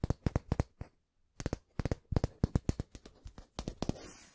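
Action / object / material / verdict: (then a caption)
tap / steel ruler / steel / none. Fingertips and nails tap and scratch along a long, flat, thin stainless steel ruler held diagonally, making a rapid run of short, dry ticks with a soft low thud behind each one. A brief silent pause falls near the middle before the tapping resumes, and it ends in a bright, scratchy rasp along the steel.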